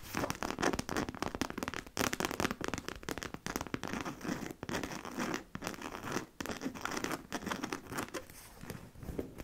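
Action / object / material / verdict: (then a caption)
scrape / coated canvas handbag / coated canvas / none. Long nails on both hands scratch and tap the lower canvas front of a medium-size black monogram coated-canvas handbag, which is hollow and held upright. The result is a dense run of dry, rapid scratches and crisp taps with a crackly, rustling texture across the lows and bright highs. Each sound stops quickly, with little ring.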